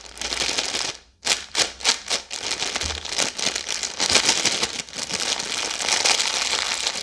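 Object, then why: Plastic-film snack bag. A full red plastic-film Maltesers snack bag is crinkled and twisted with long yellow nails while being moved. Bright, dry crinkling and crackling fill the clip, breaking off briefly near silence just after one second. It then returns as a quick run of separate rustling bursts before settling into steady, dense crinkle.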